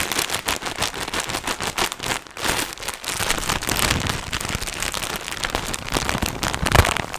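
A large, soft pack of cotton wool in a thin, crinkly plastic wrapper is held in front of the mic. Gloved fingertips tap and scratch it, squeeze it, and turn it upright and back. The result is a steady stream of dense, bright crackling and crinkling with quick soft taps throughout.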